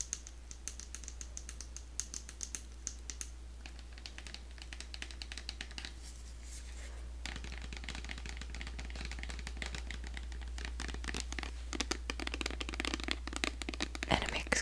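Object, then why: Small plastic moisturiser bottle. Long acrylic nails tap and scratch a small white plastic bottle of Simple hydrating light moisturiser with a green cap, held in the hands. Quick, dry, bright clicks and scratchy rasps repeat irregularly, growing denser and louder toward the end over a steady low hum.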